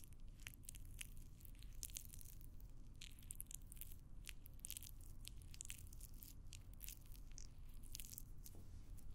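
A small, pale green cylindrical block of solid, crumbly floral foam is held in one hand close to the microphone while the long nails of the other hand scratch and press into it. Dense, bright crunching and crackling snaps come in quick bursts over a steady low rumble. The sound stays at an even, quiet level throughout.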